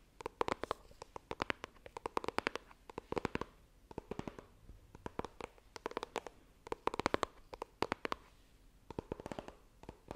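Long nails tap and scratch the lid of a small, hollow white iPhone retail box made of coated cardboard, held horizontally. Quick bursts of dry, crisp clicks come in rhythmic clusters with brief pauses between them. Each tap dies away at once, leaving soft scratchy texture underneath.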